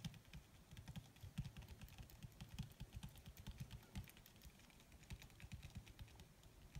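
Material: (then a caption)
Leather. Long red fingernails tap rapidly with their tips on a crumpled black leather sheet, possibly faux leather. The result is a steady, fast patter of short, dull, low thuds with faint bright clicky ticks, each hit dying away almost at once.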